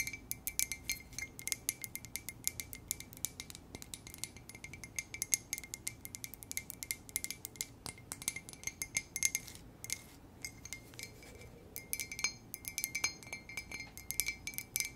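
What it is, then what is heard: Ceramic coffee mug. Long acrylic nails tap and scratch a large, hollow white ceramic coffee mug with a black "K" letter, held in both hands. Rapid, irregular bright clicks and light scraping fill the clip, each tap short with a faint high ring above a quiet low hiss.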